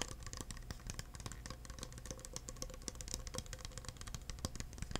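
An empty, hollow, thin clear plastic cup is held in the hands while fingertips tap its sides and bottom. The result is a rapid, dense stream of light, dry taps with bright clicky tops and very short decay, over a steady low hum.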